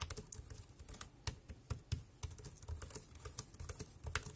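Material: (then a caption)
Plastic. Fingertips type on the keys of a dark grey plastic compact wireless keyboard. A quick, uneven run of short, dull clicks follows, each with a soft low thump and a bright tick on top, dying away almost instantly between strokes.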